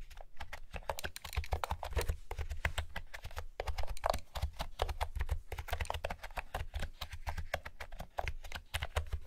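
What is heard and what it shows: Long fingernails and fingertips type on a blue plastic keyboard with round pastel keycaps, giving a steady run of fast, dry clicks and taps. Each tap is short and bright, with a low thump beneath and almost no ring between keystrokes.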